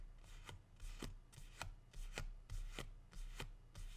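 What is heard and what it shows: A single medium, matte green plant leaf is held upright in both hands and rubbed and flicked with fingertips and dark-painted nails. Quiet, crisp flicks and papery rustling scrapes recur at an uneven pace, each dying away almost at once over a low background hum.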